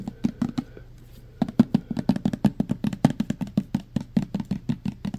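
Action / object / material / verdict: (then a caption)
tap / plastic pump bottle of gel sanitizer / plastic / none. A clear plastic pump bottle, mostly full of green gel hand sanitizer, is tapped fast on its sides and pump with fingertips and nails. After a few taps and a short pause, a steady run of quick, dry knocks follows, 28 in all, each with a low hollow thump near 234 Hz and a short click that dies away almost at once.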